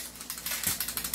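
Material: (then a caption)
Metal. A finger rests on the metal outer barrel of a John Wick Sand Viper airsoft pistol while the pistol is shaken. The barrel gives seven quick, bright, clicky rattles. The rattling shows the outer barrel is loose because it is not fixed.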